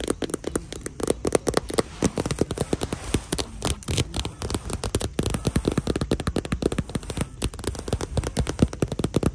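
Long nails and fingertips tap and scratch the glossy surface of a small hollow handbag in shiny marbled patent vinyl hanging on a store rack. A dense, steady stream of quick, sharp clicks mixes with crackly scratching, each tap dying away almost instantly with a low, hollow thud beneath.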